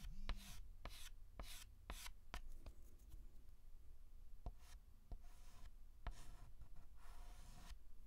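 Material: Chalk.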